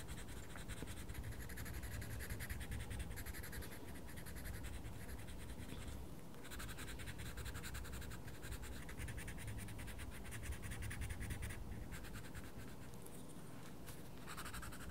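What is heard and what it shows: A wooden coloured pencil scratches continuously across a page of a small paper colouring book, making a steady, soft, papery rasp over a quiet low rumble. The scratching keeps an even level throughout, and the pencil is lifted from the page at the end.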